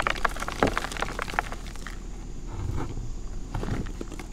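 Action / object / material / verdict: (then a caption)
scrape / reformed gym chalk blocks / chalk / none. Bare fingertips with red nails squeeze, crush and rub solid, dry, crumbly blocks of red and pink reformed gym chalk in a white bowl, breaking them into chunks and powder. Sharp crumbly cracks and crunches come in a dense cluster over the first two seconds, then give way to softer, gritty rubbing and a few scattered snaps.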